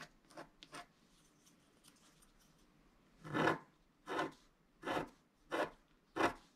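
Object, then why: Coated scratch-art card scratched with a wooden stylus. A wooden stylus scratches across a flat coated scratch-art sheet, making dry, rasping strokes. Three quick, faint scratches come first, then after a pause five louder, longer strokes follow at a steady pace, eight in all. Each stroke is a broad, bright scrape that stops cleanly with no ring.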